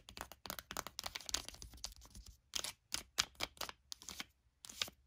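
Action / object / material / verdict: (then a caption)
scrape / foil sheet-mask sachet / foil / none. Long acrylic nails scratch and tap the surface of a flat, sealed foil face-mask packet lying on a blanket. Quick, bright, crinkly bursts of scratching and tapping come in rapid clusters separated by brief silences, with almost no low end and no ringing after each contact.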